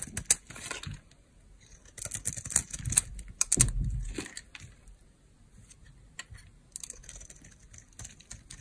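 A dry, solid Duru soap bar with a green coating and an orange interior is held in the hand while a metal blade shaves off crunchy curls. Bursts of crisp, bright scraping and crackling cluster around the first second, from about 2 to 4 seconds, and again near 7 seconds. Each burst carries a low rumble from the blade drag and fades to quiet between cuts.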